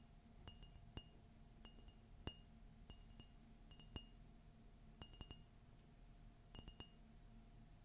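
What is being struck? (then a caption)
Ceramic mug. A large red glossy ceramic Disney coffee mug with a Mickey and Minnie Christmas-tree print, hollow and empty, is held in one hand and tapped and scratched on its outer wall with long fingernails. Sharp, bright clinks come in scattered single hits and quick pairs, each dying away almost at once, over a steady low hum and a faint soft scratching.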